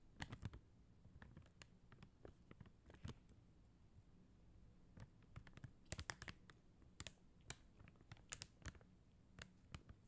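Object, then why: Acrylic rhinestone stickers on paper backing. Long teal acrylic nails tap rapidly on a flat sheet of clear and blue faceted acrylic rhinestone gem stickers on white paper backing. The taps are quiet, sharp and dry with a bright clicking edge, coming in uneven bursts with no ring after each one.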